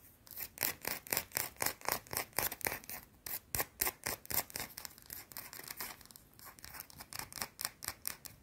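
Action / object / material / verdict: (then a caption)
scrape / bar of soap / soap / none. A small, solid, round white bar of soap held in both hands is scratched fast with long blue-painted nails. The result is quick, crisp, bright scratching bursts, about four per second, each short and dry with almost no low end.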